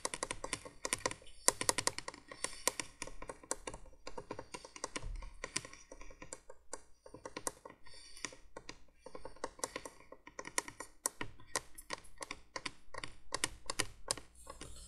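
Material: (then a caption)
Plastic. Long nails tap rapidly on the hollow plastic base of a 1980s plastic window candolier light. The result is a quick, continuous stream of short, dry, bright clicks with almost no ring, over a faint steady low hum.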